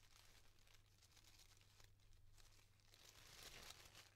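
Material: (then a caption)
Tissue paper. Fingertips and nails separate the petals of a yellow tissue paper flower, making soft, continuous crinkling and rustling. The papery rustle grows brighter and louder toward the end, over a steady low hum.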